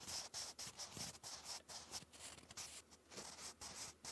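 A wooden graphite pencil writes cursive on a lined grey paper notebook page. The result is a continuous, bright graphite-on-paper scratch that swells and dips in uneven bursts, with brief pauses between strokes.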